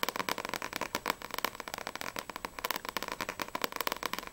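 Long nails tap quickly on the glossy paper front cover of a small, solid paperback manga book, Sprite volume 1, held upright. About two dozen crisp, dry clicks come in a rapid, uneven stream, each very short with a bright, papery tone centered around 1 kHz and almost no low end.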